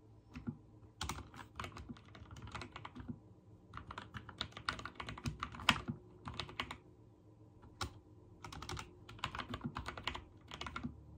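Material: Plastic.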